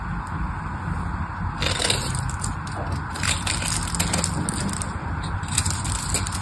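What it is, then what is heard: Dry bar soap scraped with a blade. A craft knife blade scrapes and carves a solid pink bar of dry soap, producing crisp, crackling scraping sounds with bright, gritty bursts over a steady low rumble. The scrapes come in quick, irregular strokes that grow busier and sharper from about the second mark onward.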